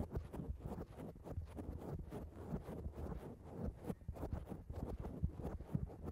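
Long acrylic nails on both hands rapidly scratch a black foam microphone cover. The result is a dense, continuous, muffled rustling and scraping, heavy in the low end with soft bursts throughout and almost no high sparkle.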